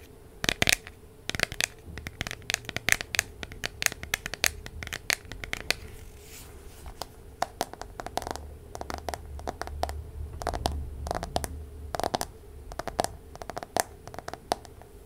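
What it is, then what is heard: Smartphone in plastic case. A smartphone in a light plastic case is held in both hands while long nails scratch and tap on the case and back. The result is a steady stream of short, dry, bright clicks and scratchy taps that stop instantly, over a faint low hum.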